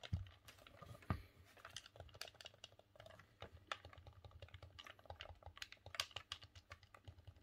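A green, hollow plastic Nintendo 64 controller is held in both hands while the thumbs click the D-pad and face buttons. It makes a quick, irregular run of short, sharp plastic clicks with bright ticks over a soft, hollow low thud, each click dying away almost at once.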